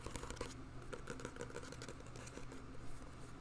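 Fingertips and short nails tap and scratch the glossy cardboard front cover of a thin, solid paperback novel, "The Couple Next Door," held upright in both hands. The result is a quiet run of soft, dull taps mixed with light scratching, with little high-frequency content.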